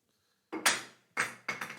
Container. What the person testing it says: 비어 있으면 시끄러운 거예요. 그리고 여러 가지 막 튀죠.